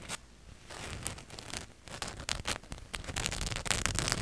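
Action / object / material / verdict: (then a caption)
scrape / cotton t-shirt with printed design / cotton / none. Long nails scratch across a black cotton t-shirt with a glittery white ghost and bat print, hung in front of the mic. Quick, uneven scratchy rasps and rustles build in density, with bright fabric-and-print scrapes over a low rumbling undertone.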